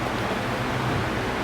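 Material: Nothing is struck.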